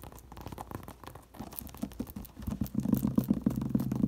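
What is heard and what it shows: Long nails scratch and tap the hollow crown of a woven paper or straw sun hat lying upside down on a table. Soft, dry scratching builds into quicker, louder rhythmic tapping with a low, hollow thump from the crown.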